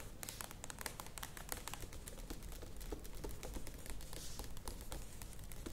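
A medium plastic yogurt tub standing upright is tapped rapidly on its sides with long nails. The result is a dense stream of quick, bright clicks over a low, steady rumble.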